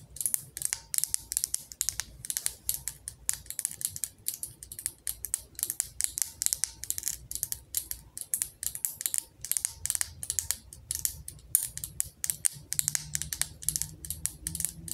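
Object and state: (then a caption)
Glass jar candle. A glass jar candle filled with wax, with a metal lid, is held in both hands while long acrylic nails tap rapidly on the glass and the label. The result is a dense stream of quick, bright clicks with almost no ring, over a faint low hum throughout.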